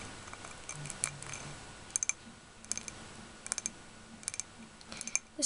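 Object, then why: Small ribbed glass jar filled with wax. A small, palm-sized ribbed glass candle jar filled with solid pink wax is held in both hands and tapped on its glass sides with short fingernails and fingertips. The taps come in quick clusters of bright, sharp clicks that die away almost instantly, with quiet gaps between the bursts.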